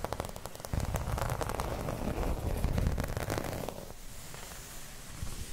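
Long red nails scratch and tap a thin, flat, round dark green embossed plastic placemat. The result is a dense, crackly run of quick scratches and clicks over a low rumble. It eases to a softer, hissier scrape toward the end.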